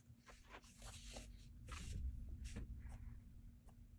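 A blue mechanical graphite pencil scratches quick strokes across a flat cream paper sketchbook page, held down by the other hand, while sketching a figure. Short, bright, scratchy bursts repeat at an uneven pace over a steady low hum.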